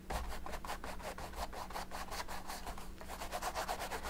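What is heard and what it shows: A thin paint brush held in the fingers is stroked and rubbed back and forth over the textured oil-paint surface of a large, flat, painted stretched canvas. It makes a quick, uneven series of dry, bristly scratching and rubbing swishes over a steady low hum.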